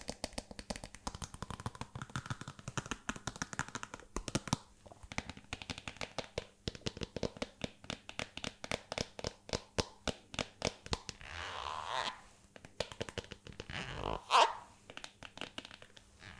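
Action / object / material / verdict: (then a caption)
tap / patent leather stiletto pump / patent leather / none. A single hollow, empty silver metallic patent leather stiletto pump with a mirror finish is held by the heel while long red nails tap and scratch along its glossy upper. Rapid, sharp clicky taps dominate. Around twelve and fourteen seconds the taps give way to a brighter, rasping scratch.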